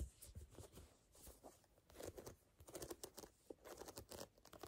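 Fingernails scratch and tap the lugs of a brown, lugged rubber sneaker outsole. Quiet, crinkly scratching comes in uneven bursts, broken up by short, dry taps with soft low thuds and bright clicks. The sounds die away almost instantly.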